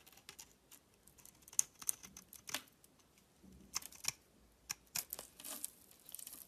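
A flat metal blade shaves and scrapes thin flakes off the cut face of a solid egg-shaped soap bar with a dark red outer layer and a pale yellow core, held in one hand. Crisp, bright scraping and crackling comes in quick, dry bursts over quiet pauses, with almost no low end.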